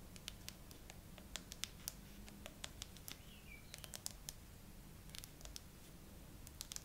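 Long acrylic nails on both hands tap slowly on the frosted glass back of a gray iPhone with no case, mounted on a tripod. The clip is a quiet, irregular series of sharp, bright clicks that die away almost instantly, over a low, steady background rumble.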